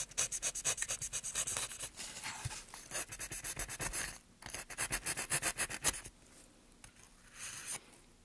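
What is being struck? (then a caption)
Pine wood board under a steel gouge. Gloved hands push a steel gouge along a carved groove in a solid, light pine softwood board. The result is a rapid run of short, bright, dry scraping strokes with brief pauses and a softer, steadier rasp between bursts.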